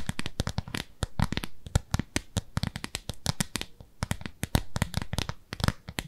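Long nails scratch across the nubby face of a round, flat, pale pink textured silicone cleansing pad, palm-sized and solid, held in both hands. A rapid, uneven run of short, dry scratchy clicks and taps is heard, each with a bright edge over a soft low thump and almost no ring.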